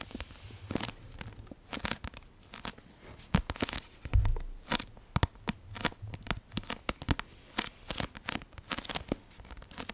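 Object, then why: Paperback book with card cover. Long nails tap and scratch across the solid card cover of a Half-Blood Prince paperback book. The result is a quiet stream of many sharp, dry clicks and scratchy, crinkling rasps with no ring, plus occasional soft low thumps from the tapping.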